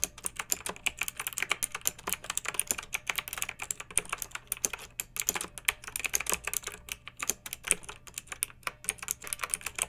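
A pink backlit plastic mechanical keyboard with round typewriter-style plastic keycaps, resting on a fluffy rug, is typed on with the long nails and fingertips of both hands. Rapid, continuous bright clicks and clacks with very short decay run throughout, over a faint steady low hum.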